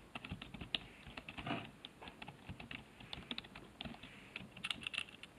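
Fingertips type on the letter keys of a black plastic HP keyboard resting on a wooden desk, heard up close. A quick, uneven stream of light, bright plastic clicks and taps, each dying away almost at once, with a soft low thump under some keystrokes.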